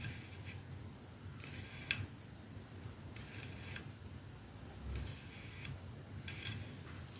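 Long nails scratch and tap the silver band and glass end of a capsule-shaped glass perfume bottle resting on a dark surface. Slow, soft, bright clicks and brief scratchy strokes sound over a low, steady hum, with one sharper tap standing out near two seconds.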